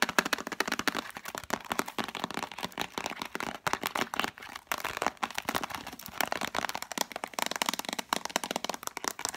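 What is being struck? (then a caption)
Plastic tub with cardboard sleeve. Long nails rapidly tap the light-blue plastic lid and cardboard-sleeved sides of a hollow plastic Spontex container. It makes a dense, continuous stream of sharp, dry clicks and taps centered in the upper midrange, with bright edges, almost no low end, and no ring after each hit.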